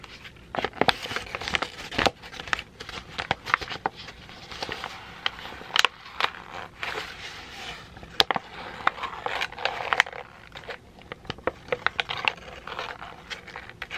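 A crumpled sheet of thin white printer paper is scrunched and crinkled between fingers. Dense, bright crackling and crinkling fills the clip, with frequent sharp snaps that stop instantly and almost no low end.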